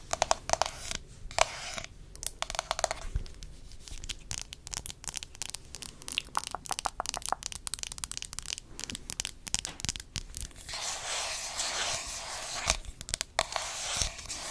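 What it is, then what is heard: Plastic cosmetic jar. Long acrylic nails tap and scratch the printed lid and sides of a round, palm-sized red plastic body-butter tub held in the hand. Rapid, dry clicks and scratchy crinkling come in dense bursts with quick, short-lived transients. Bright, hissy scraping stretches fill the last few seconds.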